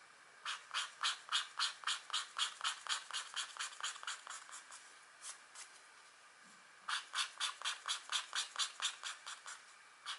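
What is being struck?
Scratch art paper sheet with black coating over metallic layer.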